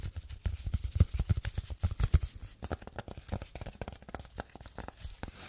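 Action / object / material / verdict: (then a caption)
tap / velvet-covered plastic phone case / velvet, plastic / none. A small, flat, hollow phone case covered in dark blue crushed velvet, with a white cat-eye camera cutout, is held in both hands and scratched and tapped with long yellow-and-black painted nails. Quick, irregular, dull taps with little ring sit mostly in a low thump, mixed with soft brushy scratching across the fabric.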